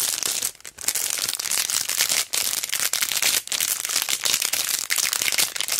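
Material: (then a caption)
Plastic. A long, flat strip of rhinestone line stickers on a cardboard-backed sheet inside a clear plastic sleeve is held in both hands and crinkled and pressed with thumbs and long dark nails. The result is a dense, bright, steady crinkling and crackling with almost no low end, broken by a few brief quiet dips between bursts.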